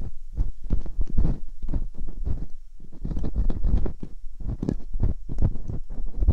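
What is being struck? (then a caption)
Silicone ear mold on a binaural microphone, scraped with a metal pick. Metal dental picks scrape inside the canals of silicone ear molds on a binaural microphone. They make a dense run of short, muffled scratching and rubbing bursts, with nearly all the sound in a deep, boomy low range. The scrapes come rapidly and overlap into a steady rumbling texture with only brief pauses.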